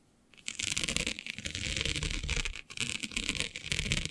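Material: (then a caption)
Plastic. Long nails scratch across the grid of a flat, black, iridescent plastic diamond mesh sheet. After a quiet start, a dense, bright, rasping scratch begins and runs almost continuously, dipping briefly in a few spots before picking back up.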